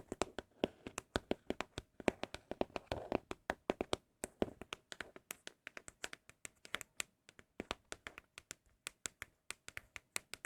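Empty Apple product boxes made of cardboard are tapped with fingertips for ASMR, giving a quick, steady run of about sixty short, dry, hollow taps centered around 375 Hz with faint bright clicks. Each tap stops almost at once, and the boxes sound especially good.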